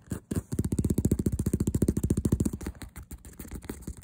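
Fingernails tap and scratch fast on the smooth leatherette front panel of a hollow faux leather handbag with a stitched cross and a "Sweet Girl" print. A quick, slightly uneven run of about twenty dull, low, thumping taps gives way to softer, scattered scratching and light taps.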